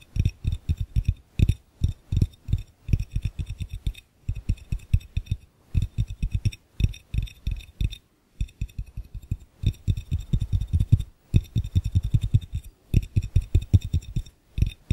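Fingertips rapidly tap and lightly scratch the glass base of an empty, hollow, clear glass fishbowl held in one hand. The taps sound as dull, low thuds around 90 Hz with almost no ring and faint bright ticks on top. They come in fast bursts with brief pauses between them.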